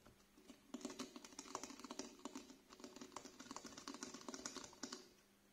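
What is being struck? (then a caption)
Small plastic bottle with liquid. Fingernails tap and scratch the surface of a small clear plastic "Cool Clear" cleanser bottle, partly filled with green-tinted liquid and held sideways. A rapid, uneven series of short, bright clicks and scrapes sounds like keyboard typing, with each tap dying away almost instantly over a faint steady hum.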